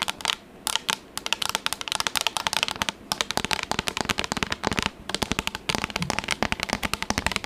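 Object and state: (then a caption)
Plastic tablet case. Long acrylic nails tap fast on a pink, textured, flat and rigid plastic tablet case held up near the mic. The result is a dense stream of sharp, bright clicks with almost no ring and little low end, broken by a few short pauses.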